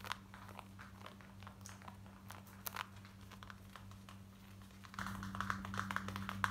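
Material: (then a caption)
Denim. Long white nails scratch fast over light grey cotton denim jeans worn on the body, near the back pocket and waistband. Quick, dry, bright scratching strokes ride over a steady low hum. Around the five-second mark the scratching becomes louder and busier.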